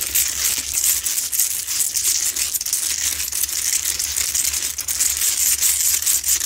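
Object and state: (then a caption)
Himalayan salt rock lamp. Long pointed nails grip and scratch the textured surface of a medium, lit, pink Himalayan salt lamp, a solid rough salt rock. The result is a steady, dense, bright scraping and crackling that stays at a fairly even level throughout, with a faint low hum underneath.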